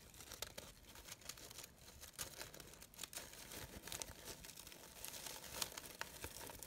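A brown organza fabric rose, a brown-gold sheer synthetic flower with gold glitter edges, has its layered petals rustled by fingers and long nails. It makes a soft, steady crinkling and scratchy rustle, mostly bright and high, with faint sharper crackles here and there. The sound is quiet throughout, with no lingering ring.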